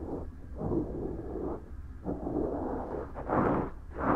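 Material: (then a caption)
Silicone. A cotton swab strokes and scratches inside the right silicone ear of a binaural microphone, which is soft and solid, and along its rim. The result is close, muffled rubbing and scratching in several swelling bursts, weighted to low and middle tones with no bright edge.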